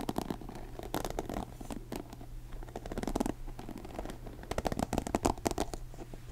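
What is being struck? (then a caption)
Plastic paddle hairbrush bristles and cushion. Fingertips scratch the bristles of a blue plastic paddle hairbrush and rub its cushioned face, making soft, dense, crackly scratching in irregular bursts. A steady low hum runs beneath it, and the scratching grows louder and sharper toward the end.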